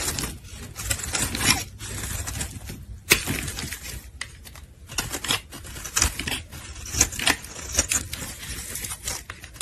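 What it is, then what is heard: Soap bar being shaved. A solid pink soap bar held in gloved hands is shaved with a metal utility blade, and flakes fall away. Dense, crisp scraping and crackling strokes come in quick bright bursts with a few sharper peaks, each dying away almost at once.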